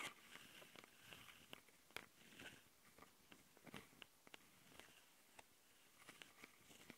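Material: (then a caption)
Plastic. Long nails on both hands scratch the capsule housings of a handheld plastic Tascam audio recorder. The result is a close, bright rasping texture broken by many sharp, clicky taps that die away almost at once.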